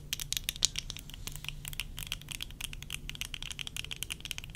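Long nails tap quickly on the lower rims and temple arms of worn tortoiseshell plastic eyeglasses, making a dense run of short, bright, dry clicks with almost no ring. The taps vary in force, a few sharper ones standing out, over a faint low hum.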